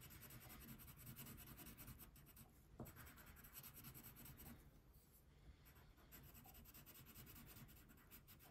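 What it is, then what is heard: Crayon coloring on paper. A brown wax crayon held in the fingertips colors a thin printed paper coloring page lying flat on a wooden table with steady back-and-forth rubbing strokes. The result is a quiet, continuous scratchy rasp with a soft low body and a bright papery texture that swells and eases with each stroke.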